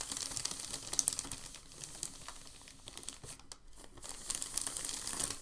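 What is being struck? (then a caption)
Thin creased packing paper sheet. A hand smooths and rubs a large, thin, creased sheet of crumpled packing paper with the palm on a table. The result is dense, bright crinkling and crackling with many sharp, quick snaps. It eases into a quieter patch midway, then builds back up toward the end.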